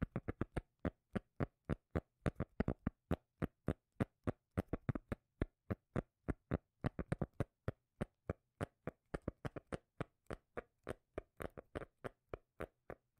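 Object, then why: Cork lid. A cork lid is tapped with the fingers in dozens of quick, dry, deep taps at an uneven pace. Each tap is short and thumpy, with most of its weight in the low end, and some come in fast clusters before the pace spreads out again.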